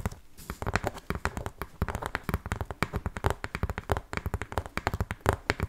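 Long painted fingernails scratch and tap quickly along the edge and side of a large, hollow corrugated cardboard shipping box. The result is a dense run of sharp, dry clicks and scratches with a hollow, low-heavy thud to each tap, dying out almost instantly.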